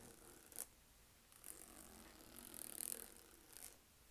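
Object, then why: Textured leather purse with metal zipper. Long acrylic nails tap and scratch across the front of a black, medium-size, hollow Michael Kors crossbody purse made of saffiano textured leather with a gold zipper. Quiet, crisp, bright ticks and scratchy rasps come in short bursts, with a longer run of scratching near the middle.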